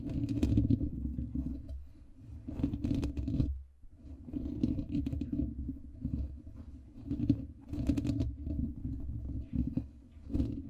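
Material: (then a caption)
Foam. Fingertips and nails of both hands scratch and tap across a soft, porous black foam windscreen on a microphone. The result is a dense, muffled, low-heavy rustling and crackling with soft taps, briefly dropping away just before the four-second mark before resuming in uneven waves.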